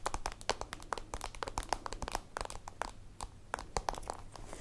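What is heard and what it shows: A holographic plastic zippered pencil case is held in the hands while long nails tap and scratch its plastic and end panel. A rapid, uneven run of short, dry clicking taps with no ring is mixed with brief scratchy crinkles, centered in a mid-pitched knock with bright edges over a faint low rumble.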